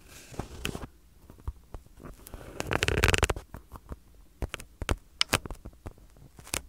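Two identical small, solid white-and-black soccer-pattern foam (PU) stress balls, one held in each hand close to the mic, are squeezed and rubbed with the fingertips. The result is soft rubbing and crinkly, crackling friction that swells in the middle, then a run of sharp, dry little clicks and squeaks over a low, muffled rumble.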